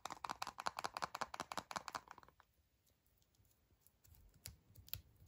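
Fingertips and short nails rapidly tap and scratch the printed aluminium foil of a small hollow Kinder Surprise chocolate egg held in both hands, producing a quick run of crisp, crinkly clicks for about two seconds. The sound then drops to near silence with faint soft rustling, broken by a couple of sharp, bright foil clicks near the end.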